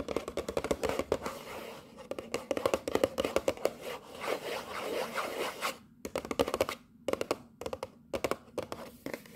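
Long nails tap and scratch across the top and sides of a hollow, colorful printed cardboard box marked "From London," held in the hands. Rapid, dry, papery taps mix with rough scratching, with a hollow mid-range tone and no low rumble. The tapping turns into sparser, separated bursts with short silences toward the end.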